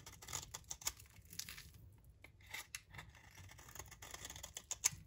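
A solid rectangular magenta bar of dry soap, held in the hand, is shaved with a utility knife blade into crumbly flakes. The sound is quiet, with a rapid series of dry, bright, crisp scraping and crunching strokes and very short decay, as the flakes break away.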